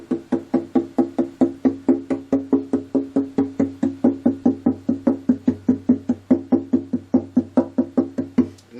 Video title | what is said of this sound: Preventive maintenance on your guitar, can save you a lot of money and heartache! | this sounds really good to me. There's none loose.